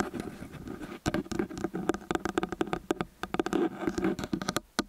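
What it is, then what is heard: Metal microphone capsules tapped and scratched with nails. Long nails rapidly tap and scratch both metal capsule heads of a small X/Y stereo microphone. A softer, scratchy patter in the first second gives way to a quick run of sharp, dry, close-up taps with a hollow low-mid tone around 340 Hz and grainy scratching between them.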